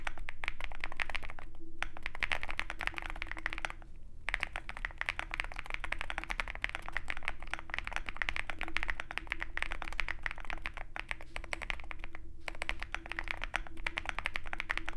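Fingertips of both hands type rapidly and continuously on a compact 65% Zoom65 mechanical keyboard with a dark metal case and white and black plastic keycaps, resting on a desk mat. Dense, irregular clacks with a bright, sharp attack run throughout, broken by a few brief pauses, over a steady low hum.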